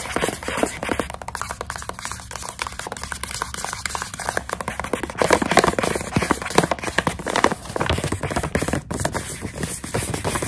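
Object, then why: Plastic pouch of dried coconut strips. Long acrylic nails tap and scratch a hand-sized plastic snack pouch filled with dried coconut strips. Rapid, dense clicking taps mix with crinkly, crackling scratches across the plastic, each sound dying away almost instantly. The result is a steady, busy texture that swells a little louder toward the middle.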